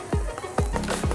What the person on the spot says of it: can hear that breads nice and toasted but it's still moist on the inside